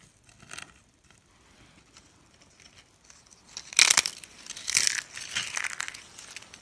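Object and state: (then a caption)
Dry, brittle soap slices. A row of thin, cream-pink dry soap slices, solid and brittle, is bent and snapped apart with the fingers. Faint crinkly crackles at the start give way to sharp, bright, crunchy snaps that grow louder in the second half, with short, dry bursts of crumbling in between.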